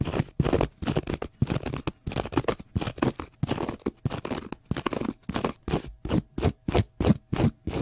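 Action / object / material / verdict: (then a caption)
scrape / cellulose sponge / cellulose / none. A small block of pale green porous cellulose sponge is held low and scratched with fingernails. The result is rapid, irregular bursts of dry, crunchy scratching, full in the low end with little treble, each stopping abruptly with short silences between.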